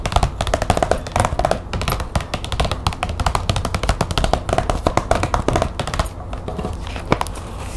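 Long nails tap quickly and scratch across the flat surface of a large glossy green plastic folder lying on a table. A dense run of short, dry clicks with a low, dull body blends into scraping, easing into softer, scratchier strokes near the end with a few sharper taps.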